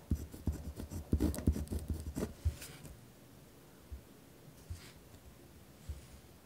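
A ballpoint pen writes with hard strokes on a torn-out notebook page held flat on a wooden desk, scratching the paper. A rapid run of rough, thumping scratches fills the first two and a half seconds, dull and heavy in the lows with brief bright edges. The writing then gives way to near silence broken by a few isolated soft taps.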